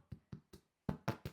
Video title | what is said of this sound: How to bake Perfect Farmhouse Bread Loaf - Easy Homemade Bread Recipe | make sure it sounds hollow. You can hear that crunchy bit is good.